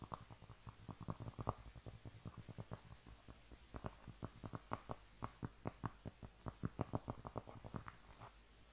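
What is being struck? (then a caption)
Round flat cork trivet. A thin, solid, round, flat cork trivet is held in both hands and scratched and tapped with long nails and fingertips. It gives a quiet, rapid, uneven series of dull, muffled low taps with very short decay over a faint scratchy hiss.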